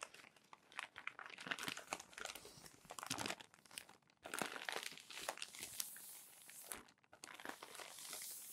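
Fingers flip through crumpled glossy paper magazine pages while a palm rubs them flat, making dense, bright crinkling and crackling with almost no low end. The rustle comes in bursts, with short quiet gaps near the middle and just before the end.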